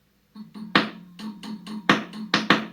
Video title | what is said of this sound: Faulty Stock Chinese Tubes in AC15C1 - EHX vs STOCK (Blind) | when I go to tap the EL84s, hear that cracking in the speaker? I'm touching it ever so lightly.